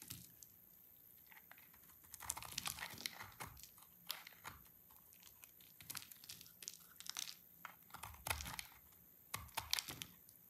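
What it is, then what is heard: Dry soap bar. A utility knife blade scrapes a dry cream soap bar with orange inclusions, shaving it into flakes. Quiet, bright, crisp crackling and scratchy rasps come in several irregular bursts, separated by near-silent pauses.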